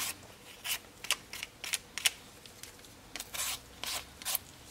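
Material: Potato.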